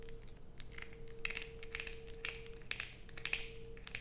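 Long pointed nails scrape and tap a solid blue bar of soap held in the hands. Short, bright, irregular scratches and clicks sound against a faint steady hum and low background rumble.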